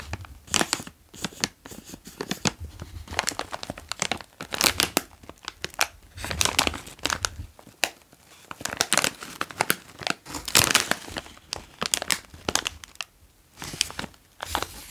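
A medium-size OLW Cheez Doodles bag of foil-lined plastic, full of puffs, is held and turned in the hands while fingertips tap and rub it. Dense, bright crinkling and crackling bursts sound throughout, with brief pauses between handling movements.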